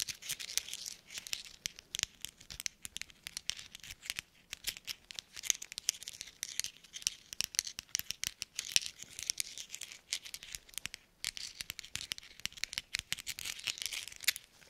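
Small hollow metal thimbles worn on black-gloved fingertips are tapped together in quick clinking motions. The result is a dense, quiet stream of bright, dry clicks and clinks that die away almost instantly, with almost no low end and a brief lull near the eleven-second mark.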